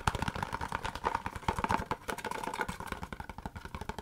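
A long, narrow, empty-looking white Laneige cardboard product box is held in the hand and rapidly tapped and scratched with long fingernails. The result is a fast, dense stream of dry, hollow clicks and scratchy rasps with a faint resonance around 1 kHz, each tap dying away almost instantly.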